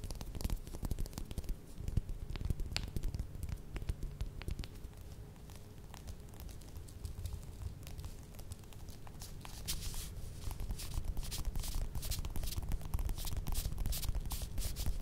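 Long red nails scratch and tap the peel of a small whole orange, first held in the hand and then set on a table. A steady stream of quick, dry taps and scratchy rustles runs throughout, with soft low thumps beneath and bright little clicks that grow denser toward the end.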